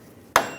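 A single sharp tap from a dead blow hammer driving a steel stub shaft into the axle of a 2007-2013 Chevrolet Silverado 1500. The short, bright midrange knock, centred near 670 Hz, dies away quickly. The changed tap sound shows the shaft is fully seated, which is normal.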